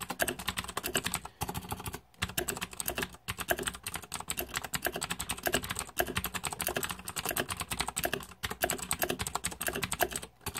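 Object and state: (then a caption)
Plastic mechanical keyboard. Rapid fingertip typing on a green-backlit Razer 2014 Deathadder mechanical keyboard with plastic keycaps produces a dense stream of sharp, bright plastic clacks. Each clack is very short, and brief pauses in the typing break up the steady rhythm.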